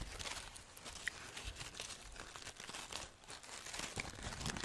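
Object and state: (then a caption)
Artificial fabric leaves crinkled. Long painted nails and fingertips crinkle and rub a bunch of orange and red artificial fabric maple leaves, likely polyester with plastic stems, close to the mic. The result is a quiet, steady, bright rustling and crinkling, dotted with small sharp ticks and soft scratchy taps.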